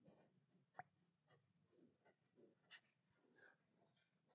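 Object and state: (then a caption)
Plastic bottle, tapped and scratched. Long nails scratch and tap the labeled side of a small white plastic skincare bottle held in both hands. Soft, quiet scratching runs throughout, broken by three sharper, brief clicking taps that die away almost at once.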